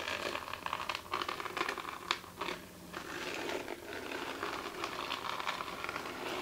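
Long chrome acrylic nails tap and scratch with both hands across the flat, silver glitter-covered surface of a glitter fabric clutch bag with a hard, likely hollow body. A steady run of dry, crackly scratching is heard, with many quick, bright taps layered through it.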